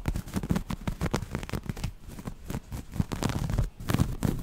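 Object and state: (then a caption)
Cotton waffle-weave fabric being scratched. Long nails scratch the textured cells of a grey waffle-weave cotton fabric held up close. The result is a dense run of quick, dry scratching strokes, mostly low and muffled, with faint bright edges on the sharper strokes.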